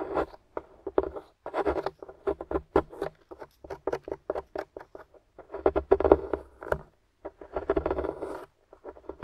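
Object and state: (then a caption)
Plaster excavation block being scraped. A wooden stick scratches and chips at a crumbly grey solid plaster dig-kit block on a table, while the other hand, with long nails, holds the block steady. Many quick, dry scraping and crumbling bursts come in irregular clusters with brief pauses between them. The sound is mostly midrange, with little low end and almost no ring after each scrape.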